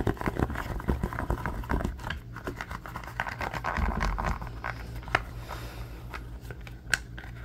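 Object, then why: Silicone pot holder. A thin, flexible red silicone pot holder with a textured grid surface is squeezed, bent and scratched with fingertips and nails. It makes a dense run of soft crinkling, scratching and tapping over a low rumble. The handling is busiest at the start and thins out later, with a couple of sharper clicks standing out near the end.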